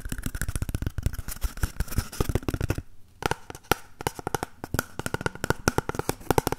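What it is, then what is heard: Empty cardboard tube. Fingertips and nails scratch and tap along the side of a single empty, hollow cardboard toilet paper tube held horizontally in both hands. Rapid, dry, hollow taps and scratches with a low, boxy body run in quick, uneven bursts, pausing briefly near the middle before resuming.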